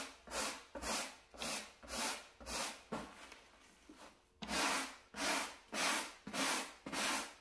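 A wooden-backed bristle brush held in a gloved hand is scrubbed back and forth over a small, solid, flat beige low-pile carpet mat. Each stroke makes a bright, raspy swish that swells and fades in a steady rhythm, with a softer, quieter stretch of scrubbing in the middle before the full strokes return.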